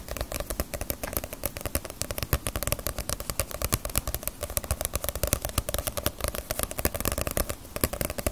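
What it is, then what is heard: Paperback book with glossy paper cover. A paperback Naruto manga with a glossy paper cover is held in both hands while fingertips and long nails tap and scratch across the cover. The result is a rapid, continuous stream of dry, short taps, with low dull thumps mixed with crisp, scratchy clicks that stop instantly without ringing.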